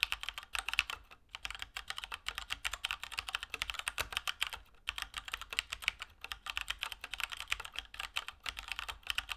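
A Keychron K2 plastic mechanical keyboard with Gateron Brown switches and plastic keycaps is typed on with the fingertips of both hands at a steady pace. The result is a continuous stream of short, bright, dry plastic clacks with almost no low end, broken only by brief pauses.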